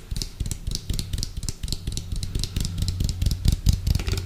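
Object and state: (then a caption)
Plastic food container. Fingernails tap quickly and unevenly on the outer wall of an orange, hollow, round plastic food container with a white lid as it is moved from one side of the microphone to the other. The taps give deep, hollow thumps with short, bright clicks on top.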